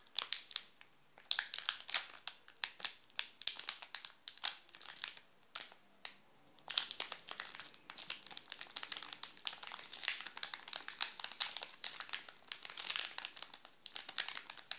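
A wrapped Nestlé chocolate bar in a plastic film wrapper crinkles as fingertips scratch and press it. Dense, bright crackles come in quick clusters, with short pauses early on and a near-continuous stream in the second half. There is almost no low end.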